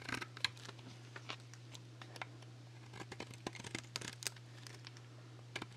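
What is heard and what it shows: A solid black Axe dry soap bar, painted and lacquered with nail polish, is held in one hand while a metal blade cuts thin slices from its face. There are many short, dry, crisp scraping and cracking cuts with a bright edge, some louder than others, over a steady low hum.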